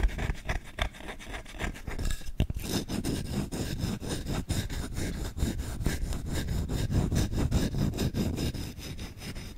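The bowl of a solid wooden spoon is scratched rapidly with short nails and fingertips. The result is a fast, uneven run of dry, rasping strokes with a heavy low rumble and faint bright clicks, staying at a steady level throughout.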